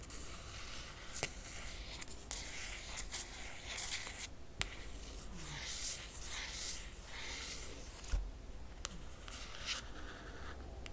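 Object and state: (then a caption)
Hardcover book cover scratched with nails. Long nails trace and scratch across the top of a closed hardcover book with a laminated cardboard cover. The result is a continuous, bright, hissy scraping texture, broken by a few sharp ticks and short strokes where the nails catch, over a low background rumble.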